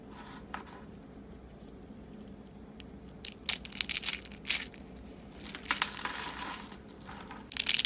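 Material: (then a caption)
Soap. Thin ribbons of dry purple soap rolled into solid, brittle rose shapes are crushed and crumbled between the fingertips over a wooden table. Bright, dry crackling crunches and crinkles come in short, scattered bursts over a quiet low hum, growing denser and louder toward the end.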